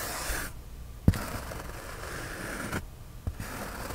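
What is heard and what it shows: Fingernails scratch the surface of a white polyethylene foam sheet in a soft, low, papery rasp that drops out twice into near silence. Each pause is broken by a short, dull tap, two in all, before the scratching resumes.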